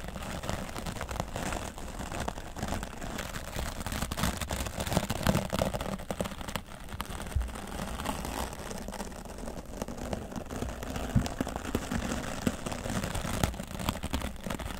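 A wooden bristle dry brush scrubs the left side of a grey foam microphone windscreen. It makes a steady, muffled scratching and rustling that is heavy in the low end, with brighter crackle and occasional louder strokes throughout.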